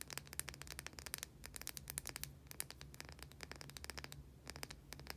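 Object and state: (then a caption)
Bar of soap. Long nails scratch the surface of a small white solid soap bar held in both hands, making a quick, dense run of dry, bright scratching clicks. A faint low hum runs steadily underneath.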